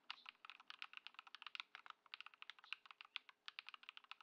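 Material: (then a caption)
Plastic. A compact Ducky One 2 SF mechanical keyboard, modded with swapped Lumia Matcha switches and Poron foam and fitted with white plastic keycaps, sits on a wooden desk while fingertips type on it with both hands. The keystrokes come as a steady run of short, dry, bright clicks and clacks centered around 2.5 kHz, with almost no low end and no ring after each press.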